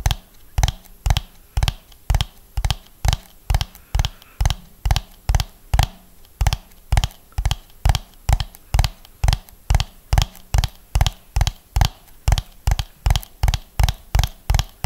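A hollow orange ribbed plastic dome is held in both hands and tapped rhythmically with the fingernails. Forty-one short, dull, hollow taps land at a steady pace of about two per second, each thud low and quickly damped, with a faint bright click on top.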